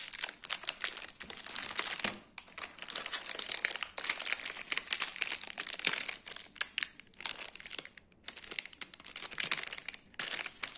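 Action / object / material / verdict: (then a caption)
scrape / foil-wrapped biscuit packet / plastic foil / none. A small, full biscuit portion wrapped in metallic plastic foil is held in the hand and squeezed and scratched with fingertips and nails. It gives a dense, bright crinkling made of rapid crackles and sharp ticks, with no low end. Brief quiet gaps fall near 2 and 8 seconds.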